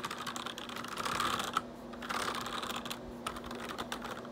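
Fingertips type fast on the keys of a black plastic RGB backlit computer keyboard, making a rapid run of short, sharp clicks and clacks with a bright edge. A steady low hum sits under the typing, which swells in two busier bursts before easing off.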